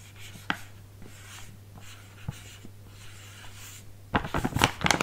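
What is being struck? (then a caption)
Filled plastic foil snack bag. Fingertips tap and rub a small, filled, printed plastic/foil bag of Stegeman biscuits held in both hands. Soft, sparse taps and faint rustles over a steady low hum give way at around four seconds to loud, dense, bright crinkling of the bag.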